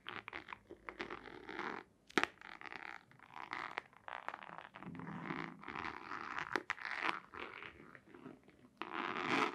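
Long nails scratch and tap on a long, hollow white cardboard box with a black stripe. Dry, papery scratching comes in uneven bursts, broken by a few sharp, quick taps. The sound sits mostly in the mid and upper range, with little low end.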